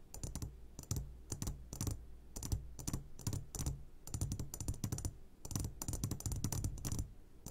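Fingertips tap rapidly on the sides of an upside-down clear glass jar full of hard candies. The result is a dense, irregular stream of short, dry clicks with bright high ticks over a low, boomy thump. Each tap fades almost at once, arriving in quick bursts with brief pauses between them.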